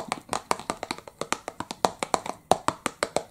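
Fingertips tap rapidly on the front face of a small, hollow, rectangular printed cardboard box of licorice pipes held in one hand. About 23 quick, dry, hollow taps sound in an uneven rhythm, each with a mid-pitched thump and a very short decay.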